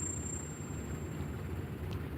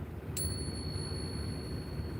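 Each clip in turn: First: copper-nickel coin with a piercing, non-silver ping. Second: real silver coin.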